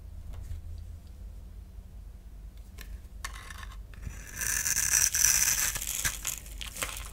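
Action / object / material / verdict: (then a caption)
scrape / bar soap / soap / none. A utility knife blade shaves and scrapes the surface of a solid oval orange bar of soap held in the palm, and dry shavings crumble off. Faint, scattered scratches over a low hum build into a loud, bright, gritty scraping hiss in the second half, which peaks and then trails off into lighter scrapes.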